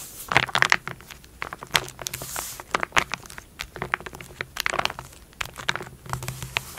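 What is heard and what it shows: Long gold and blue nails quickly scratch and tap across a sealed foil-laminate burn dressing pouch lying flat on a black surface. Rapid, crisp clicks and crinkly scrapes come in dense bursts, bright and dry with almost no ring, over a faint low hum.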